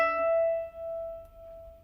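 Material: Nothing is struck.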